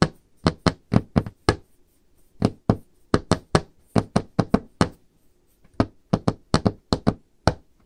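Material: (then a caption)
Wood. Painted fingernails of both hands tap on the top of a large, solid, dark-stained wooden table. About 25 short, dry knocks come in irregular clusters separated by brief pauses. Each has a low, woody thump and a bright click that dies away almost instantly.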